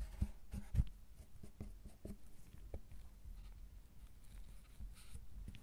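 Metal carving tools scrape and scratch the surface of a solid milk chocolate bar, producing soft, low, dull scratches and taps. A few sharper knocks stand out near the start, followed by quieter, uneven scraping.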